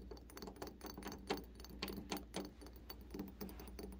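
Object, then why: Metal door knob. Fingertips and nails tap and scratch the rounded face and sides of a polished, brass-coloured, round metal door knob fixed to a door; the knob appears hollow. Quick, light metallic taps with short, bright ringing mix with soft scraping, over a steady low hum.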